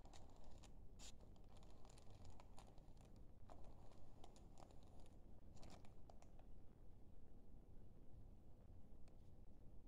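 A thin, flat, slightly crinkled sheet of white printer-type paper, roughly letter size, is held in both hands under dim blue light while fingertips bend and rub it. The result is quiet, scattered bright crinkles and soft rustling over a steady low rumble.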